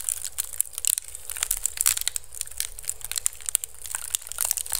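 Fingertips and nails scratch and crunch the weave of a small, hollow, empty basket made of pink-painted woven bamboo strips, resting upside down on the mic. The result is a rapid, steady run of dry, crackling scrapes and crunches, bright and hissy on top, over a faint low rumble.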